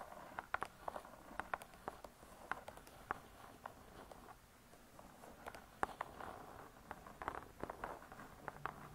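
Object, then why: Laminated board book cover. Long nails tap and scratch on the laminated board cover of a closed spiral-bound hardcover cookbook. Quick, dry, quiet taps with a midrange click come in loose clusters, with soft scratching in between. Each tap dies away almost instantly, with little low end.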